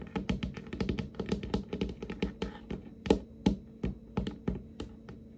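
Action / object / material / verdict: tap / wooden tabletop / wood / none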